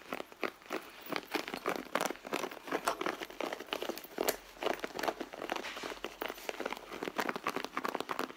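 Long blue nails on both hands scratch and tap the leather panel of a hollow, soft red leather handbag. The result is a steady run of quick, dry scratches and light taps with a crinkly texture, centered in the mids with almost no low end. Each touch dies away almost instantly.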